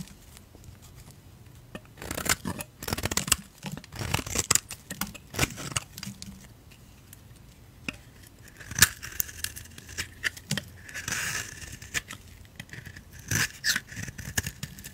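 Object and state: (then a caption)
Soap bar being shaved with a blade. A utility knife blade shaves strips off the surface of a solid oval soap bar with a black coating and a cream core, held in the hand. Irregular bursts of crisp, dry scraping and crackly tearing sounds come and go over the clip, bright and papery with little low end. Each stroke stops short with no lingering ring.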